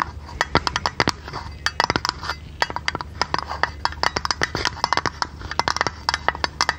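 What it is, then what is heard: Tin lid tapped with fingernails. Long red nails tap a thin, hollow printed blue tinplate lid of a tea canister held in the hand. A rapid, uneven series of sharp, bright metallic clicks and ticks sounds, each dying away almost instantly, with a tinny tone around 940 Hz over a low, steady background hum.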